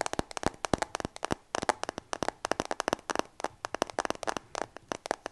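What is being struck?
Smartphone with glass back and metal frame.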